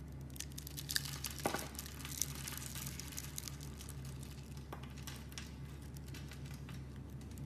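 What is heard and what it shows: A metal blade scrapes along a solid, hand-sized bar of coral-pink soap that is pre-scored into a grid and held in the hand, flicking off small soap cubes. The result is quiet, dry crinkling and crackling scrapes with a few sharper ticks early on, over a steady low hum.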